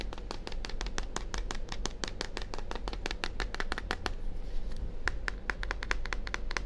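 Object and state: Plastic deodorant bottle.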